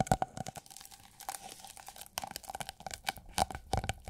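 Long acrylic nails tap and scratch a thin, iridescent holographic plastic sheet rolled into a hollow tube about 25 cm long and held in the hand. Quick, dry clicks and crinkly scratches come in uneven bursts, with a faint hollow ring around 760 Hz on the sharper taps.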